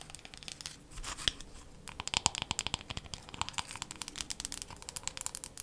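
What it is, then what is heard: Wooden hairbrush. Long matte nails tap quickly across the wooden back and solid handle of a wooden hairbrush with bristles. The result is a rapid, irregular run of light, crisp clicks, bright and dry, each dying away almost instantly with a faint scratchy texture between them.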